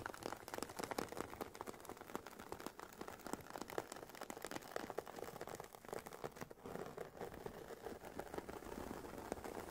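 Long painted nails scratch and tap the woven nylon fabric top of a hollow, oval, semi-rigid carry case for Sony WH-1000XM4 headphones. The result is a quiet, steady stream of dry, crinkly scratching broken by soft, quick taps that die away at once. The sound sits mostly in the mids, with little low end or bright hiss.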